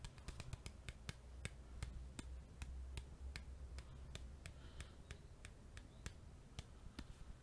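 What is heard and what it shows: A small Bicycle playing card deck box made of printed cardboard, likely still holding its cards, is held close to the microphone and tapped and rubbed with fingertips and nails. About two dozen sharp, bright, dry taps come in an uneven rhythm, with soft rubbing between them. A steady low hum runs underneath throughout.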